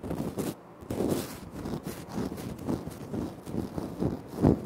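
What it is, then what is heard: Granite floor tile. Fingertips tap and scratch on a flat, solid, speckled granite floor tile, with the hands briefly reaching further out at the start. The result is a series of soft, dull taps with a low-mid body and a faint scratchy texture, each dying away almost at once, with the loudest tap near the end.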